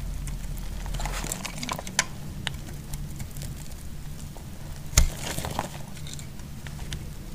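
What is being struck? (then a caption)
Bar soap. A utility knife blade cuts through a solid yellow bar of soap held in the hand, making a soft crackling, scraping patter over a low steady hum. Two sharper snaps stand out, one near the two-second mark and a louder one around five seconds, as pieces break away.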